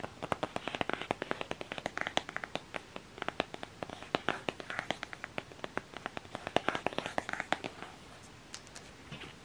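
A flat black cardboard eyeshadow palette case is held closed while long nails scratch its ridged back and fingertips then tap along its edge and face. Rapid, dry, close-up taps and clicks come in quick succession, mixed with brief scratchy, crinkly stretches, each hit stopping short with no ring. The tapping thins out and softens toward the end.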